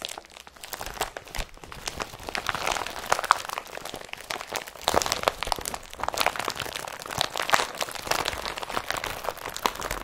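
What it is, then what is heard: Woven polypropylene carrier bag being crumpled. An empty blue IKEA BRATTBY carrier bag of woven polypropylene plastic is balled up and crumpled between both hands, with fingertips pressing into the folds. It makes a steady stream of dry, crisp crinkles and sharp crunches for the whole ten seconds. The sound centers around 1 kHz, reaches bright highs and has almost no low end.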